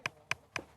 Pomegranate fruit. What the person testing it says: on a ce son métallique. Et ce son, ça veut dire que le fruit est bon à manger